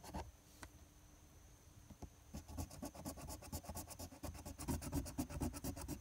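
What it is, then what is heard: Paper lottery scratch-off ticket. A coin held in the fingertips scrapes the latex coating off the Game 1 and Game 2 areas of a flat paper lottery scratch-off ticket (#026). After a quiet start with a few isolated ticks, quick, dry, broadband scratching strokes begin at about two seconds and repeat rapidly, growing louder toward the end.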